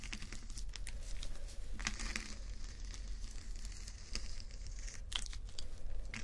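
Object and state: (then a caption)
Plastic rhinestone sticker strips being scratched. Fingernails of both hands scratch across rows of small acrylic rhinestone sticker strips on fabric, making a dense, bright crinkling and scratching texture with quick clicky bursts. A steady low hum sits beneath the scratching throughout.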